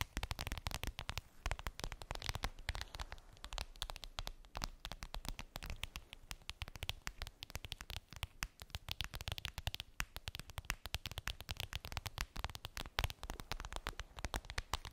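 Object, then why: Clear vinyl makeup bag. Long pink nails tap and scratch a clear vinyl makeup bag, a flat transparent PVC pouch with a daisy print and a zipper, lying on fluffy fabric. A steady, dense stream of quick, crackly taps and scratches with soft low thumps and bright, crisp clicks continues throughout.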